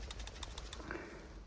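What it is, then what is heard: PCV valve, good (check valve moves freely). A new PCV valve for a 2000–2004 Toyota Avalon is shaken by hand, giving a series of sharp, bright clicks as the internal check valve rattles freely. The even clicks show a good valve that moves freely.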